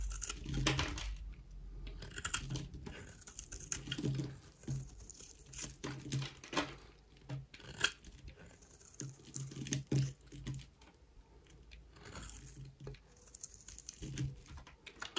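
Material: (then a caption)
Soap. A solid, dry oval pink bar soap held in the hand is shaved into curls with a utility knife blade. The result is a steady run of short, dry scraping and crinkling strokes with some brighter crisp edges and a low rumble underneath.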